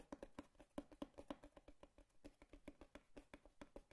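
Fingertips and nails tap on a hollow brown cardboard box with a slot, producing a quick, uneven series of soft, dull knocks. Each tap has a low hollow tone with a short, dry ring that dies away almost immediately, over light clicking from the nails.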